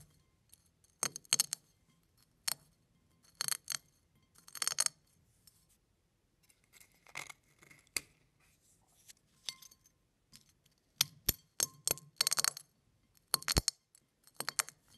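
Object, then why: Small eggshell flakes pressed on a plate. A fingertip presses down on a dense pile of small crushed eggshell flakes on a plate, crushing them. Short bursts of bright, crisp crackling come in irregular clusters separated by quiet pauses, each crunch dying away almost instantly.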